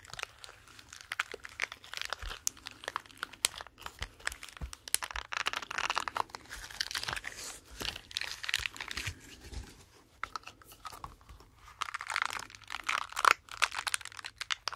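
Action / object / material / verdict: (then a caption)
scrape / silicone brush cleaning mat / silicone / none. A pink, flexible silicone brush-cleaning mat is folded and squeezed in the hands, then rubbed and scratched with the fingers. It makes dense, dry crunching and crinkling scratches with a bright, papery hiss and almost no low end. The sound comes in short bursts that swell and fade across the clip.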